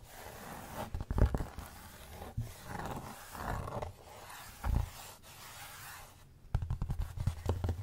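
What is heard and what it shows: A thin, flat, solid rectangular cork placemat is held upright while fingertips and short nails tap and scratch across its cork surface. Low, rough scraping swells mix with sharp taps, ending in a quick flurry of close tapping.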